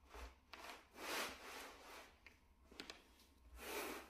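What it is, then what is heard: Shag carpet mat being brushed. A small, solid, flat grey plush shag carpet mat is brushed with a wooden bristle brush held in a gloved hand. Quiet, breathy scratching swishes rise and fall with each stroke, bright and hissy with little low end.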